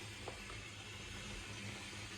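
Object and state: Nothing is struck.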